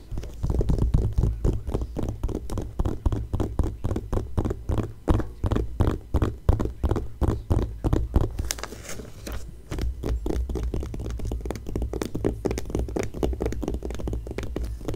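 Fingertips and long nails scratch and rub the glossy paper pages of an open magazine lying flat, making a fast, steady run of short, dry scratching strokes. The sound is heavy and low with almost no ringing, and a brief brighter rubbing sweep comes in around the middle.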